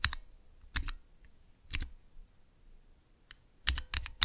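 Fingertips press the keys of a small, clear plastic Cherry MX switch tester with transparent keycaps, and the mechanical switches give off clicky presses. The sharp, bright clicks carry a low thud beneath them, die away almost instantly, and come in quick pairs and bursts separated by quiet gaps.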